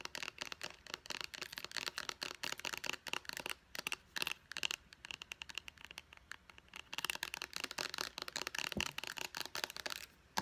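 Long nails tap and scratch rapidly on the label side of a small white plastic pump bottle. The sound is a dense run of crisp, bright clicks and scrapes with a faint tone near 2.8 kHz and almost no low end. Each click dies away instantly, with brief pauses between bursts.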